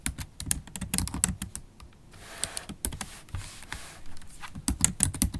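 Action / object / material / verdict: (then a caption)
tap / laptop keyboard, plastic keys in aluminum body / plastic / none. Long stiletto acrylic nails and fingertips type on a MacBook Pro laptop keyboard, with low-profile black plastic keys set in a silver aluminum body, recorded close-up. A quick, uneven stream of dry, bright clicks and taps with soft low thuds, each sound dying away almost at once, with a brief quieter hissy stretch partway through.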